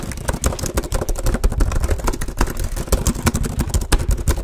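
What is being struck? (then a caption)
Plastic laptop keyboard. Fingertips type rapidly on the plastic keys of a black HP laptop sitting beside the microphone. It makes a dense, uneven stream of short, dry clacks with deep thumpy lows and bright crisp tips, each tap dying away almost instantly.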